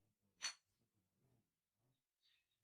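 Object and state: Fired clay tile, rings clear like glass.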